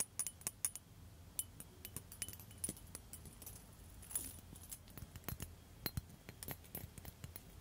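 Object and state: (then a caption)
Glass facial ice globe. Long metal nail tips tap a blue liquid-filled glass facial ice globe, which is later held near the face while the tapping goes on. Quick, sharp, bright clinks ring only briefly over a faint low rumble.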